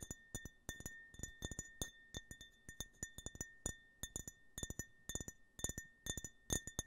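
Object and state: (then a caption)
Glass tumbler. A clear, empty glass tumbler with a US-flag print is held horizontally and tapped with the fingertips and nails. It gives a quick series of short, bright clinks in clusters, each with a faint steady ring and high, glassy overtones. The taps are quiet and close.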